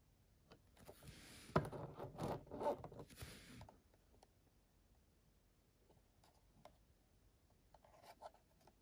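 A grey plastic Nintendo 64 cartridge of Perfect Dark (signed copy), a hollow shell with a circuit board inside, is held in both hands while fingertips and nails rub and scratch across the shell and label as it is turned to show the connector end. A dense, bright scratching and rubbing burst fills the first few seconds, then fades to near silence with a few faint ticks and a short soft rustle near the end.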